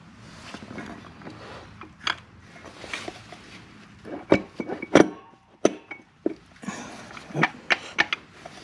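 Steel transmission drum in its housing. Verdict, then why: Seated. A steel direct drum is worked and rotated into place during assembly of a TH400 transmission, giving a low scraping and shuffling followed by sharp metal-on-metal clinks and knocks. The clinks show the drum has seated all the way.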